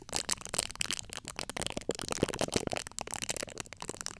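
Long acrylic nail tips scratch across the top of the domed, hollow steel-mesh grille of a large USB microphone. The result is a dense, rapid stream of bright, crackly scratches and clicks, each one very short, with faint metallic pings from the mesh.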